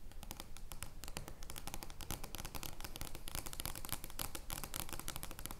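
Long painted nails on both hands scratch and rub the surface of an oversized, flat, printed cardboard joker playing card lying on a wooden table. The result is a dense, uneven run of quick scratchy taps and rasping strokes, bright clicks over a low, soft rumble, with each sound dying away almost at once.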